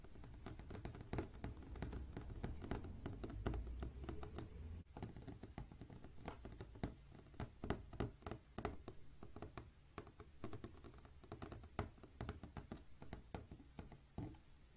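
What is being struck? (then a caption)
Flat glass pane. Long, painted green fingernails on both hands tap a flat, clear glass window pane, producing a rapid, irregular stream of short, sharp clicks over about fifteen seconds. The taps are crisp and die away almost instantly, set against a steady low hum.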